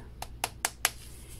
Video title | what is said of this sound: 🍂 Pie Pumpkin Fall Bath Bombs 🥧 The Chatty Tips Version🍂 | just lightly tap it changes how it sounds when it's ready to lift off